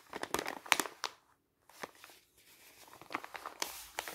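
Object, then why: Kraft paper envelope. A folded, empty brown kraft paper envelope with a white label is held in the hand and bent and crinkled with the fingers. It gives quick, dry, bright crinkles and crackles with no low end, a brief silent pause partway through, then softer rustling that builds back into sharp crackles.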